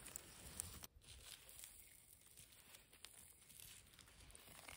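Long nails scratch and rake across the loose surface of a concrete rubble pile of dusty fine grey rubble and small broken concrete pieces. The result is a quiet, continuous gritty scraping and crunching with a bright, hissy texture, briefly dipping just before the one-second mark before the raking resumes with small irregular crackles.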